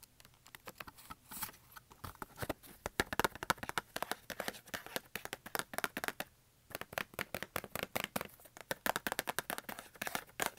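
Fingertips and nails quickly tap and click on the wax crayon tips and top of a small Crayola cardboard box full of wax crayons, resting on carpet. The result is many rapid, light, dry clicks like a keyboard, with a short pause just past the midpoint before the clicking resumes.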